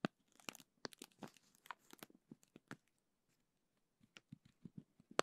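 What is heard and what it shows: A small clear plastic zip bag filled with teal gel beads is held in both hands while fingers squeeze and crinkle it. Quiet, crisp crinkling and crackling runs densely for about three seconds, then stops for about a second. Sparser crackles follow, ending on a sharper, louder crinkle.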